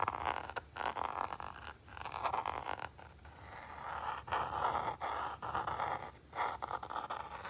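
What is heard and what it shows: A fingertip and short nail scratch and tap the textured back of a small red Nintendo Game & Watch, a hard plastic hollow shell with a printed label. Dry, raspy scraping centered in the midrange comes in bursts, broken by brief quiet gaps and light taps.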